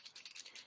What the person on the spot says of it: You can hear that ball rolling around in there.